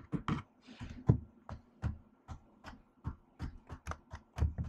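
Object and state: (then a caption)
Laptop keyboard with plastic keys, typed with long nails. One hand with long acrylic nails types and taps on a silver laptop keyboard with black plastic keys in an aluminium body. It makes 13 short, irregular clicky taps, each with a dull low thud under a bright nail click, and the sound dies away almost at once.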